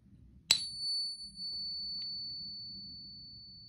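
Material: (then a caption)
Silver alloy. An authentic Morgan dollar, 90% silver and 10% copper, is pinged once and gives a bright, high ring. The ring sustains for over three seconds, much longer than a pure silver coin, because the copper alloy rings longer than purer metal.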